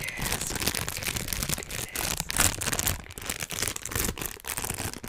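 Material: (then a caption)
Plastic. A small, thin, empty transparent plastic bag is crumpled and rubbed between the fingertips of both hands above the microphone. It makes a steady, dense crinkling with bright, crisp high crackles and soft low rustling underneath. The crackling swells and dips as the bag is worked, with short pauses between bursts.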